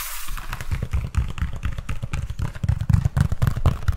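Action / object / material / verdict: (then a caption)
scrape / woven palm-leaf conical hat / dried palm leaf / none. A large, light, hollow Vietnamese conical hat of woven dried palm leaves, held close to the microphone, is scratched and tapped with fingertips and nails. The result is a fast, irregular stream of soft, low, hollow thumps mixed with dry, papery crackling and scraping that stops quickly after each touch.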